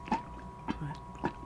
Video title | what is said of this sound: ASMR to Warm You Up on a Cold Day (With My Husband) ❄️ whispers, layered sounds, cozy triggers | I like the tapping. It's nice and muted.